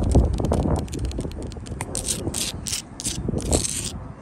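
Long blue acrylic nails scratch and tap across a solid wall of rough sandstone blocks and grey mortar, working over the stone surface and into the mortar gaps. Dry, uneven scraping and light clicking taps mix with bursts of bright, hissy grit over a low rumble.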